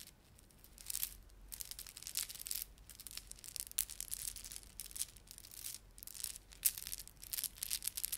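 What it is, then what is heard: Plastic beaded ornament. Fingertips rub a plastic beaded ornament, producing quiet, bright, scratchy rustling in uneven bursts. Tiny crisp clicks from the beads sit inside the friction noise, with almost no low end and no lingering ring.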